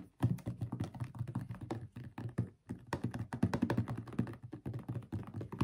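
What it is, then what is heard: Plastic bottle of thick liquid, shaken. A blue plastic Dr Teal's foaming bath bottle of about 1 L with a black cap, filled with thick liquid, is shaken with both hands. It makes a fast run of dull, low, thumping sloshes with short, dry clicks and almost no ring, broken by a brief pause partway through before the shaking resumes.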